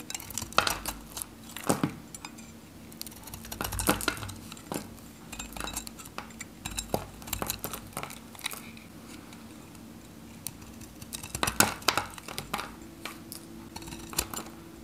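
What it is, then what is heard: Dry bar soap being cut. A dry yellow Godrej No. 1 bar soap with an orange coating is held in the fingers while a metal craft knife cuts chunks off it. Each cut gives a crisp, bright crack or click that dies away quickly, over a faint steady low hum. The blade snaps through the hard, dry soap and the chunks break away.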